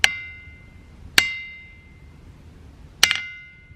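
A hammer strikes a boulder in the boulder field at Ringing Rocks County Park in Upper Black Eddy, Pennsylvania, four times, with the last two blows close together. Each hit gives a bright, bell-like clang with a clear ring near 2 kHz that fades over about a second.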